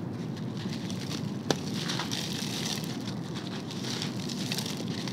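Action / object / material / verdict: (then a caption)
drop / sand-cement mix crushed by hand / sand-cement / none. A bare hand grabs handfuls of loose, dry, crumbly sand-and-concrete mix spread on a tray, along with solid dome-shaped lumps of the same mix, crushing them between the fingers and letting the crumbs fall. A steady gritty crackling and sandy patter runs throughout, with one sharp snap standing out near the middle as a lump breaks.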